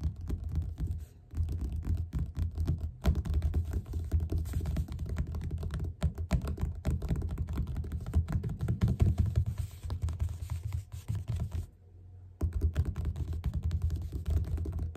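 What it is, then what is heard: Paperback book cover. Fingertips of both hands tap rapidly on the cover of a yellow paperback book lying flat and solid. The result is a dense stream of short, dull, low thuds with almost no brightness, broken by brief pauses near 1 and 3 seconds and a longer near-silent gap around 12 seconds.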